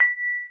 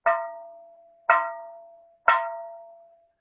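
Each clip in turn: First: well-fired ceramic bonsai pot, sound. Second: low-fired ceramic bonsai pot.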